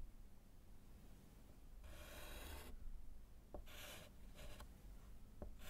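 A gloved hand writes and underlines with yellow chalk on a small, flat, solid slate chalkboard in a wooden frame. It makes bright, raspy scratching strokes: one long stroke, then several shorter ones, with quick taps of the chalk between them. Under it all is a low, steady background rumble.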